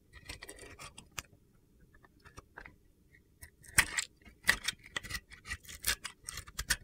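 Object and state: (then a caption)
Bar of soap being carved. A metal box-cutter blade carves flakes off the scored surface of a solid, palm-sized pink and blue glitter bar of soap. Short, crisp, gritty scrapes and clicks come in an uneven rhythm, with bright, sharp bursts and a faint ringing tone near 2 kHz. Quieter scraping fills the gaps between them.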